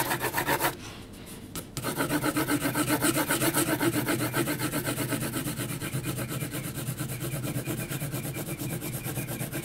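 A graphite pencil held flat is rubbed back and forth across a large flat sheet of heavy textured mixed-media paper, shading it. Fast, steady rasping strokes repeat about four times per second as a dry, bright scratchy texture with a low rumble beneath. A brief quieter gap near the start interrupts the rhythm before the shading resumes and continues evenly to the end.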